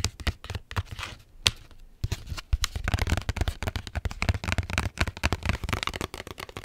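Long nails scratch and tap quickly on the foil laminate of a small Capri Sun juice pouch with a straw inserted, which appears full, working first on the back and then on the front. Sharp, crisp clicks and bright crinkly scratching come in rapid bursts, with a brief lull near the two-second mark before the tapping resumes more densely.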